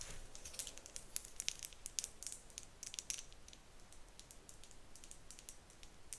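Long nails tap and flick the teeth and spine of a hand-sized, pale pink, solid plastic wide-tooth detangler comb held up close. The result is a quiet, rapid stream of sharp, high, clicky ticks that die away instantly, with louder flicks standing out over a soft low hiss.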